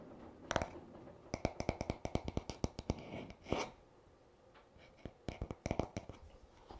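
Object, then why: Wooden hairbrush back. Fingertips tap and short nails scratch the smooth, solid wooden back of a paddle hairbrush lying on a towel. Quick, dry, short taps come in uneven clusters, with a brief brighter scratching rasp in the middle and more scattered taps toward the end.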